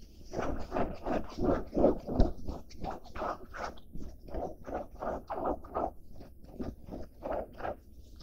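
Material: Denim.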